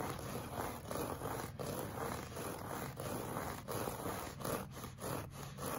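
Short fingernails and fingertips scratch across a solid, flat beige looped-pile woven rug. The result is a steady, dense scratching and rubbing texture, strongest in the midrange, with brief dips between strokes in an irregular rhythm.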